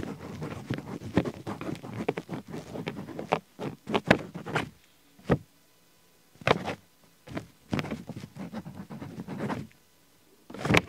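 A ballpoint pen tip scribbles and scratches in small strokes on an open paper diary page dated 20 Sunday, resting on a flat stack of pages. Bursts of dry, scratchy strokes run across the full range with a low body, separated by short near-silent pauses and ending in a louder final stroke.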